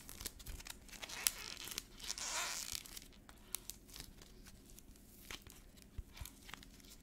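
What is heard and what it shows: Fingertips of both hands press a small solid ball of yellow modeling clay coated in a brittle black paint shell (a black-painted air-dry clay ball), cracking the shell and peeling it away from the soft clay. A sharp snap is followed by a longer bright, tearing crackle as the shell peels off, then scattered small, high clicks and crinkles.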